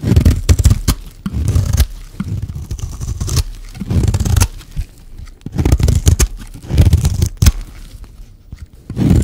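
A solid, dry, hand-sized pink soap bar is shaved along its edge with a metal blade. Repeated low, dry scraping and crumbly tearing strokes are heard, with short bursts separated by brief pauses.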